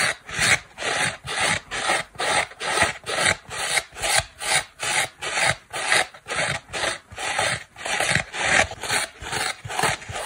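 Long black nails scratch a dry oval polyurethane foam kitchen sponge, first on its green scouring pad side and then on its soft, porous turquoise foam side. The sound is a steady run of bright, raspy scrapes, about 15 strokes at roughly two per second, each with a quick swell and fade.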